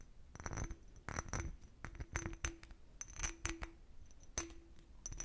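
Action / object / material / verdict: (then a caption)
tap / empty cut-crystal glass decanter / crystal glass / none. An empty, hollow, clear cut-crystal glass decanter with a starburst base is tapped and scratched with fingernails. The result is a run of bright, glassy clinks that stop quickly, with faint raspy scratching between them and a steady high ring.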